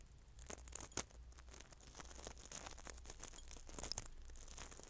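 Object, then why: Coarse salt grains in a glass bowl. Coarse salt in a small clear glass bowl is stirred and rubbed by fingers and a small utensil. It makes a dense, gritty crunching and scraping with bright, sharp grain clicks and a few louder ticks against the glass. A faint low hum runs steadily underneath.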